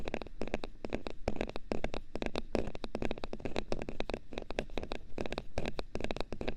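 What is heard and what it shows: Small pieces of hard thermoplastic are tapped rapidly and continuously with light, dense clicks. Each tap is short and dry, with a low body and bright click tops over a steady low rumble.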